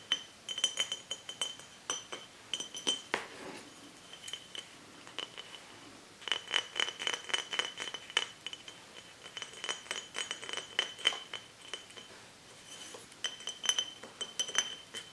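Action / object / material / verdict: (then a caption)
tap / glass bottle / glass / none. Fingertips and short nails tap and scratch a hollow, apparently empty dark-labelled glass mead (hydromel) bottle with a swing-top cap, held upright and tilted in both hands over a book. Bursts of quick, bright glassy clinks with a steady ring near 3 kHz alternate with softer scratching. The bursts come in clusters with quieter stretches around 4–6 and 12–13 seconds, and each tap dies away almost instantly.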